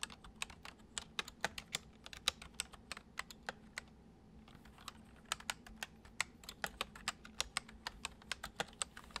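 Fingertips tap the letter keys and number pad of a full-size white plastic computer keyboard on a wooden desk, typing. About 40 quick, bright, dry clicks come in an irregular rhythm, with a brief pause near the middle, over a faint low hum.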